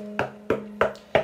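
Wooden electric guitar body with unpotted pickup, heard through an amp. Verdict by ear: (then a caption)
Microphonic. Four taps on the back of an old 1968/69 Telecaster-style electric guitar, with the volume turned up, come through the amp as short, bright knocks. Each knock rings around 630 Hz over a steady low hum. The bridge pickup was never wax potted, so it is microphonic and the whole back of the guitar acts as a resonant plate.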